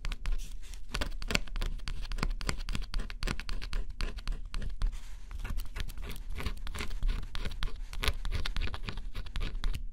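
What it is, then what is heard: Scratch-off cardboard puzzle being scratched. A small metal stylus held in the fingers scratches the black scratch-off coating on a flat, solid cardboard jigsaw puzzle. Quick, dense scratching strokes follow one another steadily, each a short, bright rasp over a low thump. The coating is scraped away in a continuous run of strokes.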